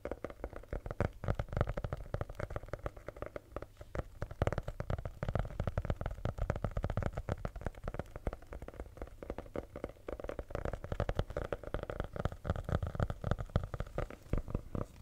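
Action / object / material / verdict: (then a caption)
tap / hardcover notebook with faux leather cover / faux leather / none. A red hardcover notebook with a faux leather cover, a solid block of paper with a rigid cover, is held in both hands while fingernails tap and scratch the cover. Dense, rapid clicks and scrapes run throughout with a soft, low-heavy thud under each tap. The taps are dry with almost no ring.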